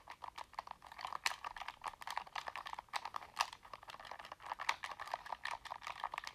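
A black plastic Sony game controller, held in both hands, is tapped with fingertips and nails while its buttons are clicked. The result is a quick, uneven stream of dry, close clicks and taps centered around 900 Hz, with occasional brighter, sharper snaps. There is no low end, and each sound stops almost instantly.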